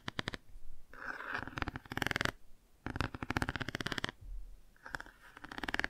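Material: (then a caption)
Cardboard. Long nails quickly tap and scratch the car page of a cardboard board book held angled and partly closed. Rapid, dry clicking taps mix with papery scratching in several bursts separated by brief quiet gaps.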